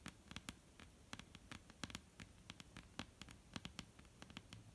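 Long almond-shaped painted nails scratch and tap on a solid, flat dark-brown wooden tabletop. The result is a quiet, irregular run of quick dry clicks with bright, high edges and a soft low thump, each dying out at once with no ring. A faint scratchy hiss and low hum sit underneath.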